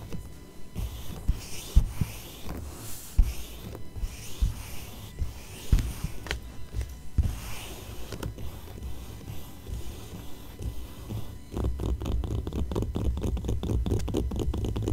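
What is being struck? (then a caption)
Glossy paper magazine page. Fingertips and long nails rub and scratch across the right-hand page of an open magazine with thin, glossy paper pages lying flat on a fuzzy blanket, the same spread staying open throughout. Soft, papery rubbing is broken by occasional sharper scratches, and the strokes turn quicker and denser in the last few seconds.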